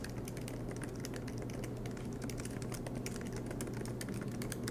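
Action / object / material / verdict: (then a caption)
tap / plastic laptop keyboard keys / plastic / none. Both hands type continuously with their fingertips on the black plastic low-profile keys of a MacBook Pro laptop with a silver aluminum body, resting on a green desk mat. Rapid, light key taps with bright clicks run together in a dense, even stream over a steady low hum.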